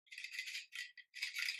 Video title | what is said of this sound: PRIMARK MAKEUP HAUL -- FULL FACE OF FIRST IMPRESSIONS -- HOW MUCH??? PRIMARK HAS UPD THEIR GAME!! | it's like a little ball in it